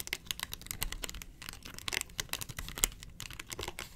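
Long nails scratch and rub the ridged face of a round, hollow yellow plastic box lid held in the hand. The result is a rapid, dense run of bright, dry scratching and clicking taps with almost no ring, some faintly crinkly, over a low, quiet background rumble.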